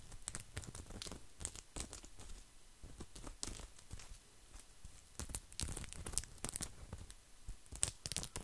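Fingertips and nails scratch a round, flat mat of coiled woven straw, thin and solid, held close to the mic. Dry, crackly scratching comes in dense bursts with a low rumble under bright, crisp rasps, and it swells and thins out across the clip.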